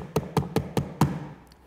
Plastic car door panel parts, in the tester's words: c'est juste du plastique sur du plastique. Si vous le maintenez et appuyez dessus, tout est silencieux